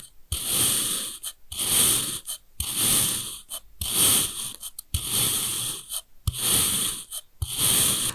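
A steel kitchen knife repeatedly slices thin pieces off the beige end of a long, solid bar of packed kinetic sand with joined red and beige sections. Each cut makes a breathy, gritty, high-pitched rasp that swells and fades, with short gaps and brief clicks as the blade starts and finishes.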